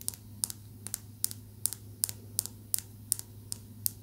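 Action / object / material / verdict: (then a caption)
tap / small polished calcite stone / calcite / none. A small, smooth, solid green calcite tumbled stone is held in the fingers and tapped rapidly with long nails. The taps are sharp, bright clicks that stop almost instantly, some coming in quick pairs. A steady low hum runs underneath.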